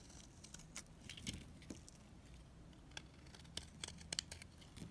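A utility knife blade scrapes and shaves a solid, dried green bar of soap, producing crumbly shavings. The clip is quiet, with a series of short, dry, bright scraping clicks and crackles scattered over a faint low background rumble. Each scrape stops almost at once, with no ring.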